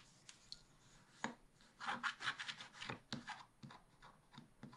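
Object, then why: Scratch-art paper sheet scraped with a wooden stylus. A wooden stylus scratches the black coating along the bottom edge of a scratch-art paper page in a spiral pad, which is held flat by one hand. Dry, papery scraping strokes come in short bursts, with a gritty, bright rasp and a few sharper ticks between the strokes. The strokes fade quickly, leaving a quiet, thin texture.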